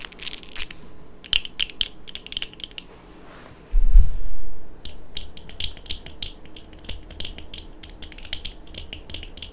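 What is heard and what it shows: Long manicured nails on both hands tap the frames and clear lenses of small, hollow, dark plastic-framed eyeglasses worn on the face. The result is a steady run of quick, bright, dry clicks, about four per second at an uneven pace, over a low hum. Partway through, a brief dull low thump swells and fades before the light tapping resumes.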